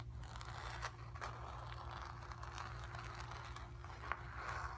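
Long nails scratch across the surface of a square acrylic-painted stretched canvas on a wooden frame, hollow behind and resting on carpet. Continuous dry, raspy scraping runs throughout, with brief sharper strokes, over a steady low hum.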